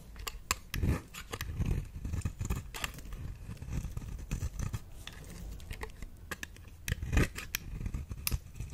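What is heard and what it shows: A small metal blade with a white handle shaves and scrapes curls off the surface of a round, solid, dry brown bar of soap held in the hand. Repeated short, crisp scraping strokes sound one after another, each with a dull low body and faint bright clicks, dying away almost at once.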